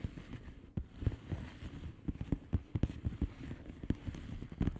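Long painted fingernails of both hands tap and scratch across the air-filled bubbles of a flat blue plastic bubble wrap envelope lying on a surface. Quiet, dull, low thuds with almost no ring sit over a soft rustling scratch, with no high or bright content.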